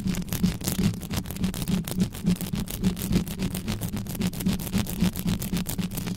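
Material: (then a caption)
Metal. Extra-long pink nails on both hands rapidly scratch the hollow metal mesh grille of an uncovered black Blue Yeti-style USB condenser microphone. The result is a dense, steady rasp of quick overlapping strokes with a boomy low hum around 180 Hz and brief bright scratchy flicks.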